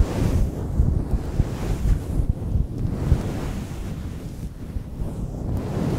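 Fingertips lightly scratch and stroke the top of a fluffy grey faux-fur windscreen on a microphone. The sound is a dense, low rumbling rustle like wind buffeting a mic, with the energy almost entirely in the low end and little to no high content. It keeps up in soft swells for the whole clip.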